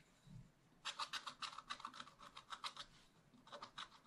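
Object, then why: Coated scratch-art paper sheet scratched with a wooden stylus. A wooden stylus scratches repeated strokes across the black coating of a scratch-art page in a small spiral pad, beside a scratched raccoon drawing, the thin paper resting on a flat backing. After a quiet start, about seventeen short, dry, bright scratching strokes come in quick, uneven bursts, with a pause before a final few strokes.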